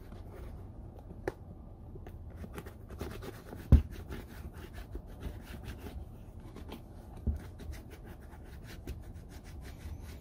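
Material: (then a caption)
Leather. Fingertips and a palm rub conditioner into the leather upper of an empty brown Red Wing Iron Ranger boot held in hand. A soft, low, steady rubbing and smearing is heard, broken by a few brief scratchy ticks, the loudest just before the four-second mark.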